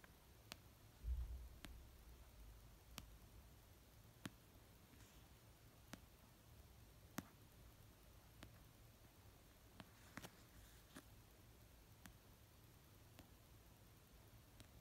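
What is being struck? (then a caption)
Paperback book. Fingertips with painted nails slowly tap an orange paperback novel of solid paper resting on a blanket, giving about 14 soft, short clicks spaced a second or more apart. The clicks fade almost instantly over a quiet, low rumbling background.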